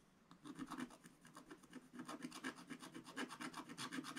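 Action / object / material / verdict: scrape / scratch-art paper page scraped with a wooden stylus / coated paper / none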